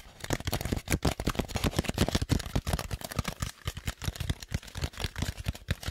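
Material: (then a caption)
Styrofoam. A large, light, hollow white styrofoam dome, held up in one hand, is tapped rapidly with the fingertips of the other hand. The result is a dense series of soft, dull, low thuds with a faint papery edge, each dying away almost at once.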